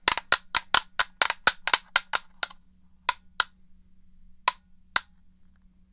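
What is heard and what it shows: Fingertips and nails tap the back and buttons of a black, hollow plastic original Xbox controller held to the left of the mic. About 16 short, bright, clicky taps come in a fast, uneven flurry over the first two and a half seconds, then space out to single taps. Each tap dies away almost instantly with no ring, leaving a faint low hum underneath.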